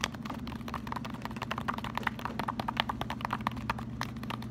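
Fingertips bend, riffle and scratch the pages and edges of a small pink paper sticky note pad, a solid stack. A rapid, uneven stream of soft, dry paper ticks and flicks sits over a steady low hum, each click short and crisp with no ring.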